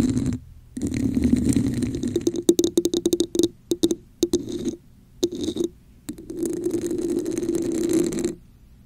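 Long acrylic nails scratch and tap the sides of a hollow red plastic cup with a raised scale pattern, held over a microphone. Rough, continuous scraping passages alternate with a run of quick, sharp taps, all carrying a hollow, resonant mid-pitched tone with a bright, crackly edge. The clip ends with another sustained scratching stretch before falling quiet.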